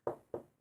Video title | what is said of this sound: Choice By Choice Podcast Episode 5: Food | Yeah, sounds like wood. This is wood.